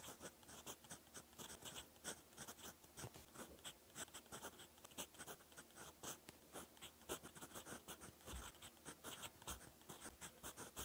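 A gold-decorated fountain pen nib scratches black ink writing strokes across a lined cream paper notebook page. Quick, dry scratches repeat steadily with brief pauses, each short stroke carrying a bright, papery hiss over a faint low hum.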